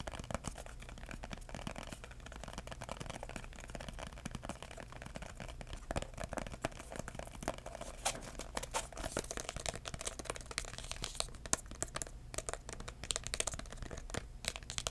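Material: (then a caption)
Cardboard. Fingertips tap and scratch a red, embossed, paper-covered cardboard box that is held upright and then laid flat. The result is a dense, steady stream of quick, dry taps and crinkly scratches with bright papery crackle over a low, steady hum, with each contact dying away almost instantly.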